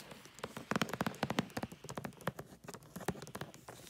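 Fingertips and long nails rub, crinkle and handle a gift box wrapped in holographic tree-print foil paper. A quick, uneven run of short, dry crackles and taps rises and falls in level, with bright crinkly edges over a softer body.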